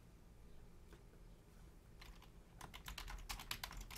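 Long painted nails and fingertips type with both hands on a black plastic Logitech full-size membrane keyboard with a hollow casing, while the mouse stays untouched. After a faint tap near one second, a few soft keystrokes come, then a quicker, irregular run of sharp, bright clacks over a low background hum. Each key click is short and dies away almost at once.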